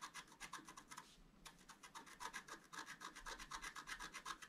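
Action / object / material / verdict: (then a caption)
scrape / scratch-art paper card with wooden stylus / coated paper / none. A wooden stylus scratches the black coating off a thin, solid, flat scratch-art paper sheet held by hand. The result is a quick, even run of dry, bright rasping strokes, about four per second, with a brief pause near the one-second mark.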